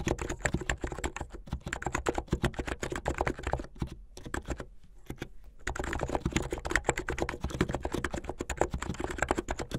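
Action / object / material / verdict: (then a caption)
tap / plastic mechanical keyboard / plastic / none. Fingertips with medium painted nails type fast on a full-size mechanical keyboard with a blue plastic case, white, blue and yellow plastic keycaps and a white backlight, resting on a dark cloth. A dense stream of quick, short clacking keystrokes with a solid low thump thins to a few scattered taps around the middle, then picks back up at full speed to the end.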